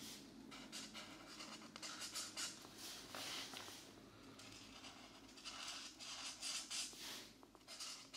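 A green-capped marker tip scratches short strokes over the thin paper page of an open coloring book, which sits slightly rotated on a desk mat. The clip is a soft, steady run of dry, bright scratching, with brief louder swells as strokes press harder and very little low end.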